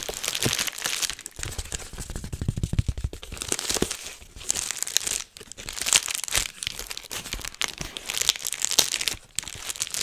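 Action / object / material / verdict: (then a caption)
scrape / plastic bubble wrap sheet / plastic / none. A large sheet of clear plastic bubble wrap is held next to the microphone while fingertips pinch and pop its individual bubbles. Bright, dense crinkling runs throughout, broken by sharp little pops and cracks that die away almost instantly, with a few duller low thumps early on.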